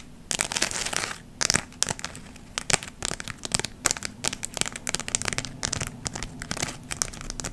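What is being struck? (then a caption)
Glitter-covered fabric leaf ornament. A palm-sized round glitter fabric ornament, covered in glittery gold, red and brown artificial maple leaves and held in both hands, is scratched and rubbed with long nails. This produces bright, dry crinkling and crackling in quick, uneven bursts with a faint low rumble underneath.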